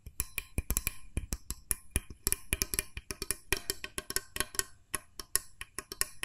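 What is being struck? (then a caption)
Plastic mooncake press mold with metal spring plunger. A small, hollow, cream-coloured plastic mooncake press mold with a metal spring plunger is held sideways while nails tap its body and plunger. The result is a quick, irregular run of short, dry, clicky taps with a bright, hollow edge and almost no ring.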